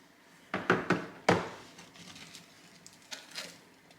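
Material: Fried dough.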